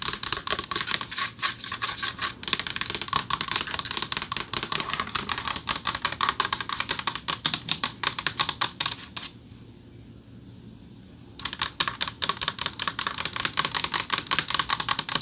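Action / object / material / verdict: tap / silver-finished metal plaque / metal / none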